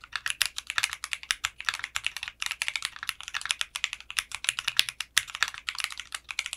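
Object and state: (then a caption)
Polycarbonate mechanical keyboard being typed on. Fingertips type steadily on a mechanical keyboard with clear pink polycarbonate keycaps and a translucent case. Rapid, bright, clicky keystrokes with almost no low end follow one another in quick, uneven bursts, each stopping dead with no ring.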